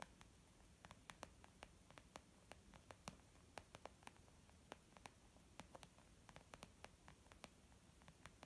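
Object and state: Leather makeup bag.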